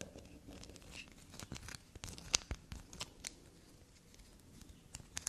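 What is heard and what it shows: A small solid black soap bar is held and scratched and scraped with long black nails. The result is a quiet run of dry, bright scratching and crackling with several sharp clicks standing out.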